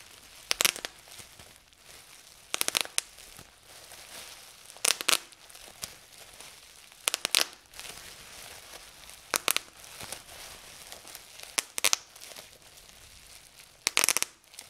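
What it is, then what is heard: Plastic bubble wrap being popped. Fingertips press and pop the small air bubbles of clear plastic bubble wrap spread on a table. Seven sharp, bright bursts of crackly pops come about every two seconds, with a faint crinkling of plastic between them.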